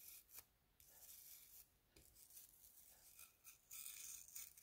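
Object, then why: Spiral seashell scrubbed with a plastic toothbrush. A plastic toothbrush scrubs the inner lip and striped outer surface of a hollow spiral seashell held in the hand. The sound is soft, bright, scratchy bristle rasping in uneven bursts, with brief quiet gaps between strokes and very little low end.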